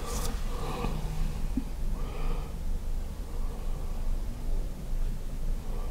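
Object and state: Nothing is struck.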